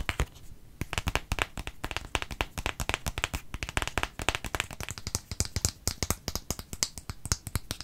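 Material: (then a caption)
Plastic. Fingertips and fingernails tap and scratch a small, light-green plastic cosmetic squeeze tube with a cap, hollow and partly filled, held in one hand. The result is a fast, steady stream of short, dry clicks and taps with almost no ring. Each tap has a low hollow thump under a bright, crisp scratch.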